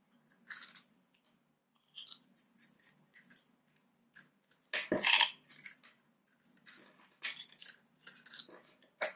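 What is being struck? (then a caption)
Sugar-coated soap bar. A palm-sized white bar of dry soap with a purple sugar coating is held in one hand and carved and scraped with a metal knife blade, so crumbly shavings fall onto a white surface. The sound is a run of bright, crisp scratching and crunching bursts with almost no low end, and a louder, longer scrape comes about halfway through.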